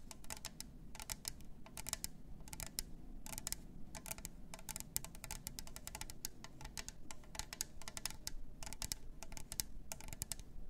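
Long nails tap rapidly on the clear lid rim and sides of a plastic glitter tumbler fitted with a straw. The taps come as quick, bright, dry clicks in dense bursts with brief pauses between them, over a steady low hum.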